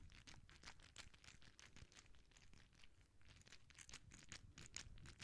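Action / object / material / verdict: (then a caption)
scrape / soft rubber spiky ball / rubber / none. A palm-sized clear soft rubber ball covered in spikes, solid or gel-filled, is held in the hands and squeezed while long nails rub and scratch its spikes close to the microphone. A quiet, dense stream of quick, bright scratchy and crinkly bursts runs over a soft low rumble, with no ring after each stroke.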